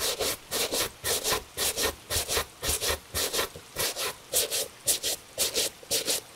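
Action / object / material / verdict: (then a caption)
scrape / leather shoe brushed with a bristle brush / leather / none. A gloved hand brushes the upper of a tan Italian leather shoe, with a wooden shoe tree inside, using a horsehair brush. Thirteen quick, steady strokes come about two per second, each a bright, airy bristle swish over a soft midrange rub.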